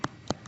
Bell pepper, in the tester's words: that's the sound of a very fresh pepper it's Hollow and thick